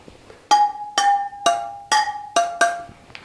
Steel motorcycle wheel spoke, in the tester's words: Still a dull thud. We haven't gone enough.